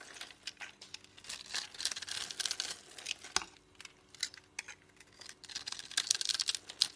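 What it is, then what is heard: Bar of soap being carved. A dry, palm-sized bar of soap with a striped orange, teal, blue and pink coating and a white core is held in the hand and scored and scraped in a grid pattern with a utility knife blade, so crumbly soap cubes fall off. The result is quiet, bright, crisp scratching and crackling in quick, irregular bursts with no low end and no ring after each stroke.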